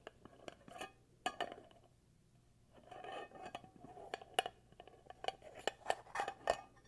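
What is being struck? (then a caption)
Glass candle jar with plastic lid. Fingertips and nails tap and scratch on a small glass jar filled with white wax and on its black screw lid. Sharp, bright clinks and clicks around 730 Hz die away almost instantly, broken up by soft scratchy rustling stretches and a brief quiet pause.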